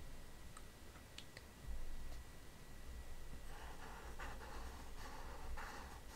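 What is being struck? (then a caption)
Plastic stylus tip on a glass tablet touchscreen. An Apple Pencil with a pink grip taps and strokes its hard plastic tip across the flat glass touchscreen of a large iPad Pro lying flat while drawing. Faint, sharp taps come first, then from the middle onward, soft scratchy strokes with a bright, papery hiss over a low, steady background rumble.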